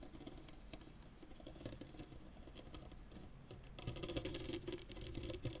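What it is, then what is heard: Tennis racket strings tapped. Fingertips tap and pat across the synthetic string bed of a blue and white Babolat tennis racket with a composite frame, lying flat. The result is a quiet, fast, irregular patter of soft, dull taps with short, low string buzz, growing louder and busier in the last couple of seconds.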